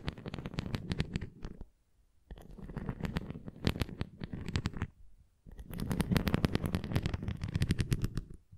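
Fingernails tap and scratch along the rim edge and nubbed top of a red plastic flying ring toy held flat. Three bursts of quick, dry clicking and scraping are separated by two short pauses. The sound stays soft and mostly low, with sharp ticks that stop almost at once.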